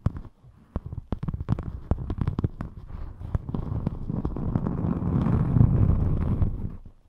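A thin rainbow glitter EVA craft foam sheet is held in front of the microphone and flexed while long metallic nails scratch and rub across it. Sharp, crackly clicks and taps come first, then merge into a dense, low, rumbling rub that swells to its loudest near the end before fading away.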